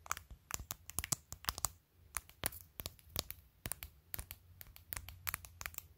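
A phone held in the hand, in a clear glitter plastic case covered with acrylic press-on nails, is tapped and scratched by long nails across the case surface. Quick, bright clicks come in an irregular stream with short scratchy rustles between them, over a low, quiet background hum.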